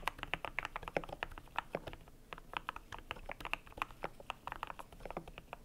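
Fingertips type steadily on a cream compact mechanical keyboard with PBT plastic keycaps. Rapid, uneven keystrokes make short, dry clacks with a solid mid-range tone and bright edges that stop almost instantly. Quick bursts of keys blend with slightly louder single presses.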